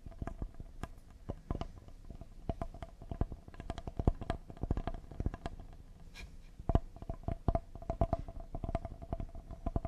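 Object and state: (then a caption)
Cedar wooden serving board. Fingernails tap and lightly scratch the surface and edges of a solid cedar paddle-shaped serving board held in both hands. The result is a fast, irregular stream of short, dry wooden taps with a low, thumpy body, and each tap dies away almost at once. A faint steady tone near 650 Hz runs beneath the tapping.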